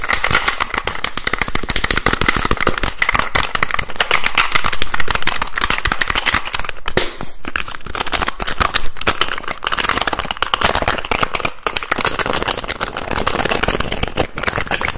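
Fingertips and nails rapidly tap and twist the teal plastic screw cap on a hollow white plastic bottle with a green cap. A fast, dense stream of sharp plastic clicks and crackly scratching runs steadily, with no pauses, through the whole clip.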